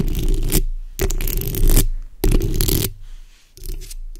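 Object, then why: Metal mesh microphone grille. The backs of long red acrylic nails on both hands scratch the hollow metal mesh head of a black condenser microphone. Four bursts of dense, raspy scratching come through with a heavy, boomy low rumble and a bright hiss on top. Each burst cuts off into short quiet gaps.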